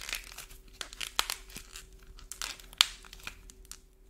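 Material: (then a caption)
Clay, paint. A small solid green modeling clay ball coated in a dried shiny orange paint shell is squeezed and kneaded in both hands by fingertips and thumbs. Its brittle paint crust cracks and flakes off the soft clay with a run of sharp, bright, dry crackles and crinkles, the loudest snaps near 1.2 and 2.8 seconds. A faint steady low hum sits underneath.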